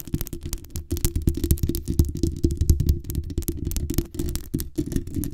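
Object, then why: Metal mesh microphone grille. Long nails scratch along the sides and top of the hollow metal mesh grille on a black USB condenser microphone. A rapid, continuous run of scratchy strokes produces a heavy, throbbing low rumble through the mic, topped by brief bright crackles with each pass.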